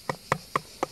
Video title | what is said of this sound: Ma piscine fuit : les skimmers | C'est dur, c'est dur, c'est dur